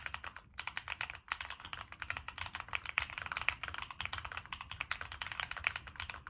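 Fingertips type rapidly on a Monsgeek M1 mechanical keyboard with NK Creams switches, a dark metal case and purple and black plastic keycaps. The result is a steady stream of short, bright, crisp clacks with very little low end and almost no ring after each press.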